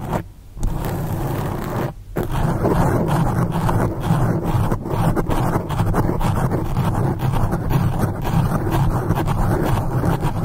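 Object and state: Foam microphone windscreen being scratched.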